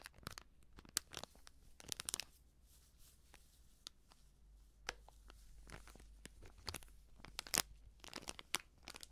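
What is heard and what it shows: A small, filled foil sachet of baking soda is squeezed, bent and crinkled by fingertips with long painted nails. Quiet, bright crinkling and crackling come in irregular bursts, with sharp clicks from the nails tapping the foil over a faint low hum.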